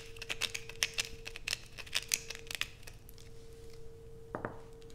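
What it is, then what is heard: Bar of soap scratched with nails. A solid blue bar of soap, first held and then resting on black plastic, is scratched with long acrylic nails. It gives a quick series of bright, crisp scratchy clicks over a faint steady hum. Near the end, two fuller, lower-reaching strokes come through before it settles back to quiet scratching.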